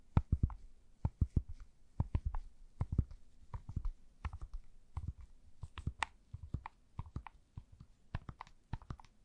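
A standard-size plastic Rubik's cube with a solid puzzle mechanism is held over the microphone and tapped and twisted by gloved fingers with long nails. The result is a quiet, irregular run of short, dry clicks and taps, mostly low and thumpy with a brief bright tick on top, each dying away almost instantly.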